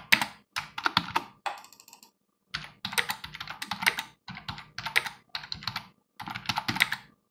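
Both hands type continuously with their fingertips on a full-size black plastic desktop computer keyboard with a hollow plastic housing, resting on a wooden desk. Quick bursts of bright, clicky key taps come in runs separated by brief pauses. Each tap is dry and dies away almost instantly.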